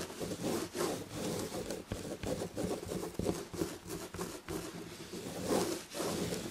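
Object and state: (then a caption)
Fabric-upholstered chair back. Long red-painted nails on both hands scratch the red and gold damask chenille upholstery of a fabric-covered chair back. The result is a steady, raspy scratching and rubbing texture, with its body in the low mids and a faint high hiss, swelling and easing as the strokes repeat.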